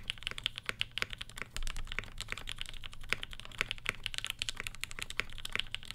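A black Satisfaction 75 R1 75% mechanical keyboard with Gateron Ink switches and Tangie tops, an FR4 plate and a hollow case, fitted with black and pink ABS GMK Olivia keycaps, sits on a floral desk mat. Both hands, with short nails and rings on the fingers, type on it continuously with the fingertips. The result is a steady stream of short, crisp clacks with a bright attack, over a faint low hum.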